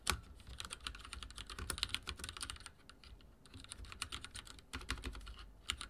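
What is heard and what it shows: Fingertips type on a backlit mechanical keyboard with dark plastic keycaps, producing a steady stream of bright, crisp key clicks with brief pauses around three and six seconds. Each tap lands as a short, sharp click over a faint low hum.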